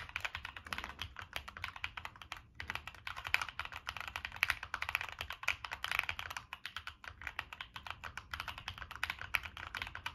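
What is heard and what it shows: Continuous fingertip typing on a Monsgeek M1 mechanical keyboard with a black aluminum case, plastic keycaps and NK Cream switches. Rapid, short, bright clacks follow one another with almost no ring and little low end, with a brief lull around the two-and-a-half-second mark.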